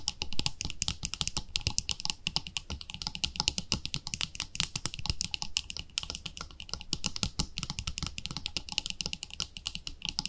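Long nails tap fast on the lid and side wall of a palm-sized round white plastic cream jar with a pink label. The result is a dense, continuous stream of short, dry, bright clicks with a soft low body beneath, each tap dying away almost instantly.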